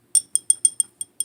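Eight quick taps on the glass body of a perfume bottle with a plastic cap give bright, high, glassy clinks, each dying away almost at once. The taps come in a steady series with a short gap between each.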